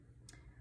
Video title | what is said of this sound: Leatherhard and bone dry clay | you have a bone-dry piece of clay if you tap on it you can hear it's very hard